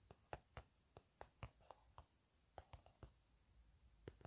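Fingertips and nails tap slowly and softly on an upright, hollow plastic or laminate hand cream squeeze tube with a blueberry print that appears filled with cream. About a dozen quiet, dull taps with a low thump and a brief mid-range click are spaced unevenly over a faint hiss, each dying away almost at once.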